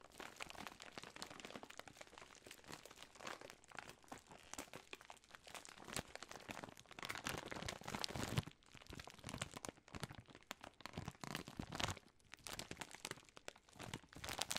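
A large Jolly Rancher assortment bag of plastic film, full of wrapped hard candies, is held in both hands with long nails and squeezed, crinkled and shaken. The result is a dense, continuous stream of bright crinkling and crunching with quick, sharp crackles. The sound swells in louder bursts and drops briefly just after the midpoint.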